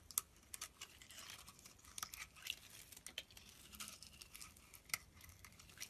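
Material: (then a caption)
Soap. A utility-knife blade scrapes and shaves flakes off a solid mint-green bar of soap held in the palm. Quiet, bright, crisp scraping and crackling comes in a rapid series of short strokes with sharp ticks, carrying almost no low end and dying away at once.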